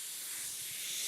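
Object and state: Nothing is struck.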